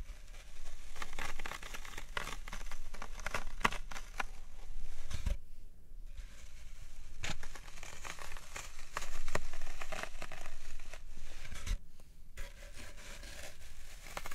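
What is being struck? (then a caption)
Green floral foam brick. Fingertips with long nails press and poke into the soft top of a large, solid, unwrapped green floral foam brick resting on a wooden tray, leaving round dents. Each press gives a dry, crumbly crunch and crackle, repeating in a quick, uneven stream. Two short quiet breaks interrupt the crunching.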